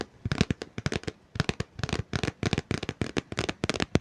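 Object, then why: Book, paper and cardboard cover. Fingers tap rapidly on a book, making dense, dry tapping and light scratching sounds. The short, clicky taps come in quick clusters with brief gaps across the clip and fade almost instantly.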